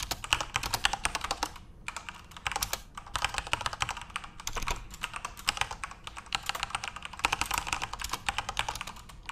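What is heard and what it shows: Continuous fingertip typing on a backlit plastic Corsair mechanical RGB keyboard produces rapid, bright clicking keystrokes in dense bursts. Brief pauses come just before 2 seconds and around 4.5 seconds. Each click is short and dry, with little low end.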